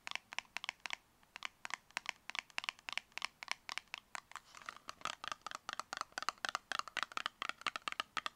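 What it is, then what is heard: Cardboard cosmetic box. Long red fingernails tap rapidly on a tall, narrow, copper-colored cardboard cosmetic box that is hollow and held in both hands. About 44 short, crisp, papery taps ring out in quick, uneven bursts, each sharp and bright with almost no resonance.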